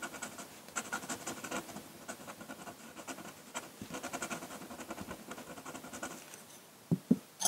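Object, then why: Paper sheet scratched by a metal pen nib. A metal dip-pen nib scratches ink lines across a flat sheet of drawing paper while the hand drags over the lower area of the drawing. A steady run of quick, dry, papery scratches with a bright hiss fills the clip, ending in a few sharper, louder contacts in the last second.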